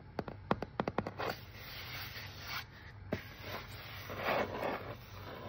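Fingertips and nails tap, rub and scratch on the label and face of a hollow, hand-held brown corrugated cardboard shipping box with a shipping label. A quick run of sharp, dry taps opens the clip, followed by soft papery scratching and rubbing. A single tap lands midway, then more rubbing swells toward the end.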